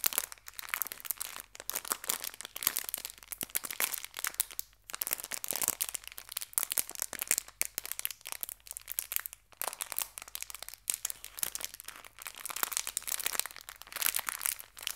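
A small, full, hand-sized clear plastic bag of colorful fabric hair ties is squeezed and crinkled between fingertips and long red-painted nails. Dense, bright crinkling and crackling run almost continuously, with very little low end and only brief pauses.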